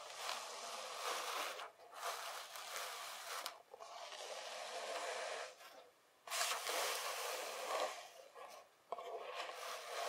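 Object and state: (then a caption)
Kinetic sand. Loose kinetic sand is gathered and pressed into a mound with both hands. It makes a soft, grainy rubbing and scraping hiss that is bright with almost no low end, coming in several bursts separated by short pauses.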